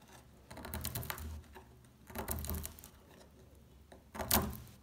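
A small metal tool scratches and scrapes the top face of a solid, dry brown household laundry soap bar held in the hands, leaving a pile of curled flakes on it. Dry, crackly scraping comes in several bursts, bright and gritty over a soft low rumble, with the sharpest, loudest scrape near the end.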